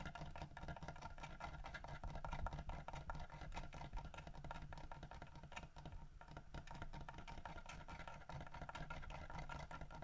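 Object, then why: Carved wooden bear statue with fish. Fingernails scratch and tap rapidly across the scales of a solid carved wooden fish held in the mouth of a carved wooden bear statue. The result is a dense, continuous patter of short, dry clicks and scrapes that decay almost instantly, heavy in low-end body with little high brightness, and dipping briefly in level around the six-second mark.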